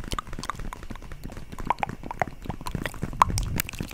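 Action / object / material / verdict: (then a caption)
tap / vinyl zip pouch / vinyl / none. A holographic vinyl zip makeup pouch, held in both hands close to the microphone, is tapped rapidly with long nails. The result is a quick, uneven run of short, dry clicking taps with a soft plastic thump underneath and occasional brighter ticks.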